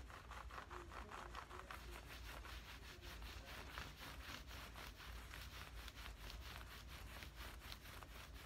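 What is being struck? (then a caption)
Cotton cargo trousers. Fingernails scratch and rub down the thigh of worn camouflage cotton cargo pants. A steady run of quick, rhythmic rasping strokes brushes across the fabric, bright and papery, over a constant low hum.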